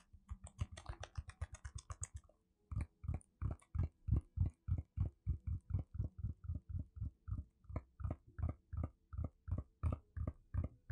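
Fingertips and nails tap and scratch across a flat, square teal cardboard Seventeen Heng:Garae album, held in both hands, with a CD inside and sealed in plastic wrap. A quick burst of crinkly scratching and rapid tapping gives way to a steady run of dull, low, dry taps, about three per second, each dying away almost at once.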